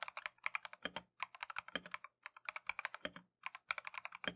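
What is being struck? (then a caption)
Mechanical keyboard with plastic keycaps. A compact Keychron V1 mechanical keyboard with Tangerine switches and green-and-white Matcha plastic keycaps is typed on continuously with gloved fingertips. About thirty-three quick, bright plastic clacks come in short bursts separated by brief pauses, each dying away almost instantly with very little low end.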